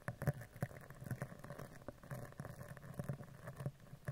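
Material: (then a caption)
Steel mesh. A spoolie brush with dark bristles is brushed and scratched along the surface of a round, hollow steel mesh microphone grille, moving from the side to the top. It makes a soft, low, close-up patter of quick scratchy strokes with a dull, bassy thump to each pass and almost no bright top.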